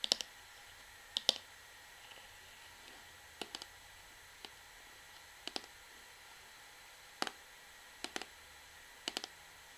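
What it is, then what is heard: Plastic shampoo bottle tapped with fingernails. Long fingernails tap a hollow, medium-size orange plastic Sunsilk shampoo bottle near the top and along its body. The taps come in short, irregular clusters of sharp, bright, dry clicks that die away almost instantly, against a faint steady hiss.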